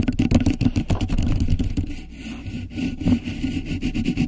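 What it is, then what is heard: Beeswax fabric wrap. A thin grey polka-dot beeswax-coated cotton wrap stretched over the top of a microphone is rubbed and scratched with long nails. The result is a dense, irregular run of close, low-heavy crinkling scrapes and rubs, with a softer, quieter stretch in the middle before the scratching picks up again.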